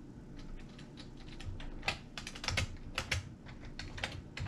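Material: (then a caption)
Plastic. A full-size beige and grey plastic computer keyboard with hollow key switches sits on a wooden table while both hands type fast with the fingertips, pressing and tapping keys continuously. The result is a steady stream of bright, clacky key clicks over dull, low thumps, each stroke dying away quickly.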